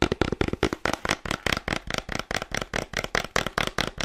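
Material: Cardboard.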